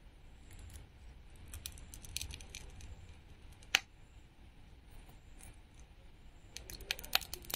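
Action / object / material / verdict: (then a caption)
scrape / painted wooden toy fruit slice with a sticker layer, scraped with metal tweezers / wood / none. Metal tweezers scratch and peel a glittery sticker layer off a small, flat, solid painted wooden toy watermelon slice held in the palm. The result is quiet, dry scraping and crackly peeling with scattered bright ticks. A sharp click stands out near the middle and another cluster of clicks comes near the end.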